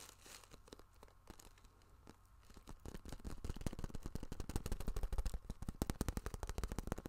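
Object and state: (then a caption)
Vinyl zip pouch. A small holographic vinyl cosmetic zip pouch, flexible and held in hand, is tapped, scratched and crinkled with fingertips and nails close up. Soft, sparse crinkles and scratches at first give way to a growing run of sharp, dry taps with a brief plastic crackle, each dying away almost instantly over a low hum.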